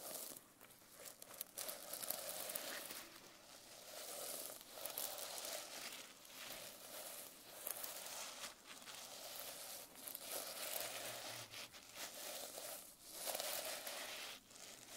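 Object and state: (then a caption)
Sequin-covered notebook. A hand rubs and swipes across a reversible sequin notebook cover, flipping the sequins. The result is quiet, bright, crinkly swishes in repeated, uneven strokes, with a faint mid-range rustle and almost no low end.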